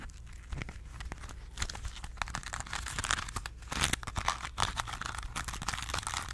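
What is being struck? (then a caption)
Crumpled aluminum foil ball. A small crumpled ball of aluminum foil is scratched and crinkled with long nails. Dense, bright crackles and sharp crunchy snaps pile over a steady low hum, growing busier and louder toward the middle and end.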